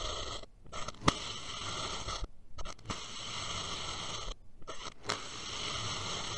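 A steel knife blade makes repeated diagonal cuts through the layered slices of a purple kinetic sand dome. Each stroke gives a soft, grainy scraping hiss with a bright, crisp edge and an occasional sharp click, separated by brief near-silent pauses.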